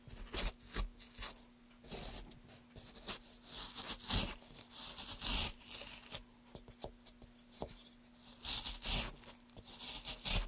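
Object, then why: Pale wooden block cut with a gouge. Gloved hands carve a solid pale wooden block lengthwise with a wooden-handled gouge, making a series of bright, dry scraping strokes with short pauses between them. Each stroke has a hissy, rasping high texture and stops quickly with almost no ring, over a faint steady low hum.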